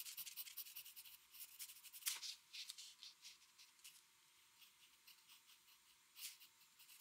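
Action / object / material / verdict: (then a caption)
scrape / paper sheet and pencil tip / paper / none. A metal mechanical pencil tip makes short shading strokes on a flat white drawing paper sheet lying on a desk. Quiet, bright, high scratching comes in a quick, uneven run of short strokes, with one louder scrape around two seconds in and another near the end, and no low-end body.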